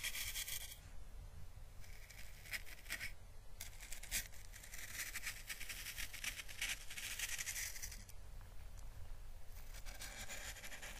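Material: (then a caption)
Dried plant. A small, hollow, dried orange Chinese lantern husk (a papery plant calyx) is held in the fingers and brushed with paintbrush bristles while being lightly crackled. Soft, steady brushing and scratchy rustling come with bursts of bright, papery crackle, over a constant low rumble beneath. The sound stays quiet and close throughout, with short swells where the bristles sweep harder.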